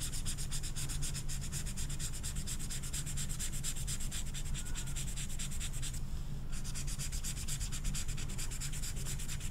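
An orange felt-tip marker is rubbed in quick strokes over the velvet surface of a small, flat velvet-flocked paper poster card. The result is a steady, fast, bright scratchy rubbing over a constant low hum, with a brief pause in the bright strokes about two-thirds of the way through.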